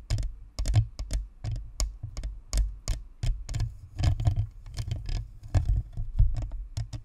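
Long manicured nails of both hands tap rapidly and irregularly on a white spherical Blue Snowball USB microphone with a hollow plastic shell and perforated metal grille, mounted on a stand. Each tap lands as a deep, boomy thump with a short bright click on top, dying away almost instantly, in uneven flurries like fast typing.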